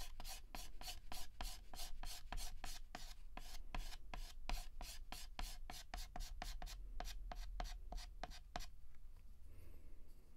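Fingertips hold a yellow chalk stick and shade a petal on a flat, solid black chalkboard with rapid, short scratches. Each stroke gives a dry, bright, scratchy rasp in a steady rhythm, over a low, constant hum. The scratching stops near the end, leaving only faint quiet.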